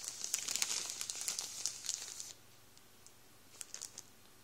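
Fingertips rub the plastic of a full Warburtons bread roll bag, producing a dense, bright crinkling for just over two seconds. The hand then moves away, leaving near-silence broken only by a few faint, scattered crackles of the settling plastic.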